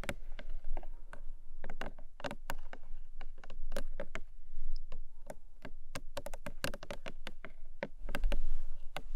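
Long nails tap and scratch the top face of a long, narrow, hollow pink Emi Jay paperboard box. The result is a fast, irregular patter of crisp, dry taps that die away almost instantly, mixed with soft scratching over a low, steady background rumble.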